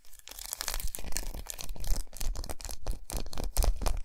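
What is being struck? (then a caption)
Large segmented milk chocolate bar. Long nails rapidly tap and scratch a large, unwrapped, solid milk chocolate bar with raised segmented squares resting on a towel. The result is a dense run of dry, crackly scratching bursts with bright, papery hiss and soft, dull low thuds from the taps.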